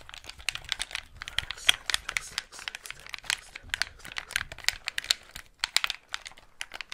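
A white Xbox 360 gamepad with a hollow, hand-sized plastic shell is held in both hands while fingertips press and tap its buttons and thumbsticks and tap the casing. The result is a fast, irregular stream of dry, bright plastic clicks and crinkly taps with almost no ring, over a quiet low background.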